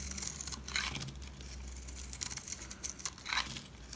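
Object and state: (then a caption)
Dry soap bar being cut. A solid black rectangular bar of dry soap is held by hand while a utility knife cuts and scrapes chunks off it. The sound is made of dry, crumbly crunching and scraping bursts with bright high-frequency crackle. The sharpest snaps come near the middle and toward the end.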